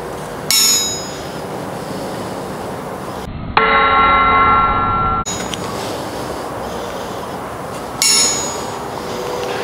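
A steel ball bearing is dropped from about 20 inches onto a 100 lb Emerson cast 4140 steel anvil, through-hardened by quenching, to test its rebound. Bright metallic pings and a clear ringing tone near 1.4 kHz sound across the clip, each ring lasting over a second before fading.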